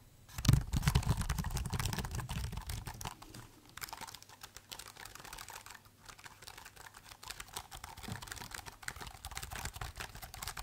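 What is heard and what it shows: Fingertips type on the black plastic keys of a silver laptop keyboard while the laptop is held at changing angles. Soft, quick, irregular clicks patter along throughout, with a heavier low thump and handling rumble near the start before the taps settle into a steady, quieter rhythm.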